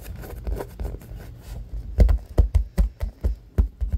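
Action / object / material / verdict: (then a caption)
tap / aluminum drink can / aluminum / none. Fingertips and short nails tap and scratch the curved side of a medium orange-and-white printed aluminum beverage can, hollow with unknown contents, lying on its side on a wooden table with its metal rim visible. A soft, low scratching rustle gives way after about two seconds to a run of sharper, dull, thudding taps that die away almost at once.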